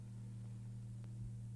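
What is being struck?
Nothing is struck.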